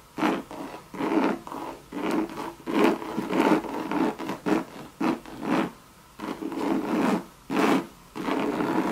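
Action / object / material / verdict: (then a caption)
scrape / coated canvas and leather handbag / coated canvas / none. Long red nails scratch and rub over a Louis Vuitton Monogram coated canvas bucket bag with a leather rim. Repeated short, dry, raspy strokes come in bursts with brief pauses between them. The scraping is mid-toned around 340 Hz, with a bright, hissy edge and little low end.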